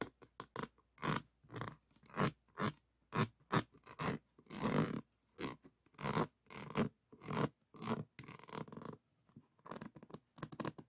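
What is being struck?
Diamond painting board covered in small resin beads.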